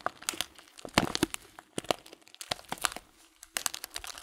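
A sealed, clear plastic bag filled with loose dried fruit tea is pressed and crinkled by thumbs. Many sharp, bright crinkles and crunches come in clustered bursts with short pauses between them, and there is little low rumble.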